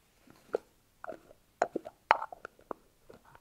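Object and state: Plastic tub tapped with fingernails.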